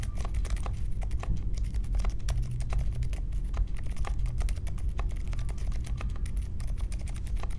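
Steady fingertip typing with both hands on a small 60% mechanical keyboard with a grey case, white, mint and pink plastic keycaps and silent linear switches, resting on a marble desk. Dense, soft clicks patter without pause over a low, constant rumble, each keystroke short and muted with a bright tick on top.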